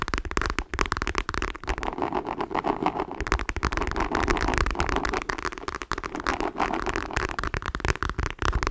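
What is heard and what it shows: Long nails scratch quickly over a dark patterned faux leather clutch wallet held in both hands. The result is a dense, steady run of crackling, rasping scrapes over a low rumble, with no pauses for the full length of the clip.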